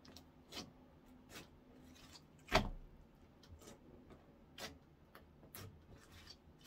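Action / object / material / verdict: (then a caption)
tap / clear slime / slime / none. Orange clear slime is stretched by both hands, then folded and poked with fingertips on a wooden counter. Soft, bright sticky clicks and squelches are spread through the clip, with one sharper, louder pop near the middle.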